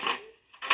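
A new plastic-bodied Polycab 4-foot smart LED batten tube light with dimming and colour changing is shaken, giving two bright, clicky rattles with a quiet gap between them. The rattle comes from a fault: the LED strip inside is bent and working loose from its channel.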